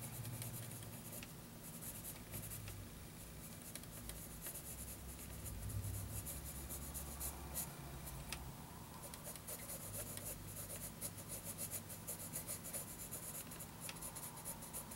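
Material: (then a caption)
Paper. A wooden graphite pencil scratches quick hatching strokes across a lined paper notebook page, making a bright, dry rasp that repeats in uneven bursts several times a second. The strokes stay quiet over a steady low hum throughout.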